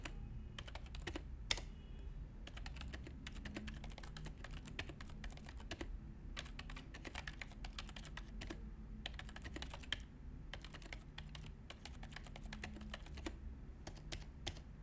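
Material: Plastic.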